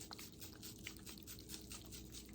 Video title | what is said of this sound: Hydroponic Gardening Video 01 | this one sounds a lot different hear that ... you can still hear those big ones hitting around in there